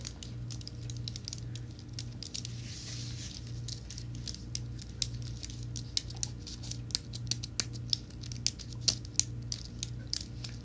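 A slim white Apple-style wireless keyboard with plastic keys on an aluminum base is held up in the hands while fingertips and nails tap and brush across the keys. Quick, dry, bright clicks and soft scratchy brushing patter along irregularly, with sharper taps standing out in the second half. A steady low hum runs underneath throughout.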